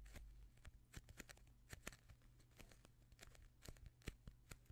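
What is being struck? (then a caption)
Polyurethane foam squishy toy shaped like a donut. A palm-sized soft polyurethane foam squishy toy shaped like a chocolate-glazed donut, a solid foam ring, is squeezed and pressed with the fingertips and thumbs of both hands. The result is quiet, close-up crackly crinkling and short bright ticks and squelches, scattered irregularly over a steady low hum.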